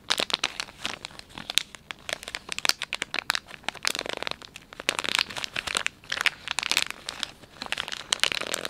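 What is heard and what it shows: Fingers squeeze and crinkle the soft plastic film of a filled, palm-sized Dettol wet wipes pouch. A steady run of bright, crackly crinkles and sharp snaps carries almost no low end, with each crackle stopping dead without ringing.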